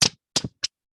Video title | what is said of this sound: WSURA March Program - Manuscripts, Archives, and Special Collections (MASC) | there's definitely a slight metal almost plasticky tang to these things